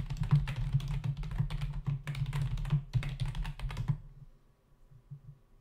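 Both hands' fingertips type rapidly on a full-size black plastic membrane keyboard with hollow keys resting on a dark desk. A quick, uneven run of hollow, thuddy key taps with a low body and brief clicky tops fills about four seconds. The typing then stops, leaving only faint, quiet low-level sound.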